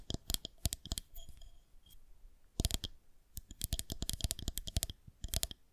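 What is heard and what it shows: A white plastic rolling pin rests on the fingertips of both hands while long nails tap and click against its underside. The result is a quick, irregular run of sharp, bright clicks with almost no ring, separated by soft scratchy pauses.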